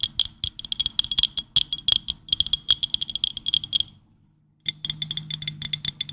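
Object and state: Ceramic dinner plate.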